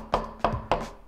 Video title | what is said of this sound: I Bought Project Farm’s TOP RATED String Trimmer | it's a much more solid build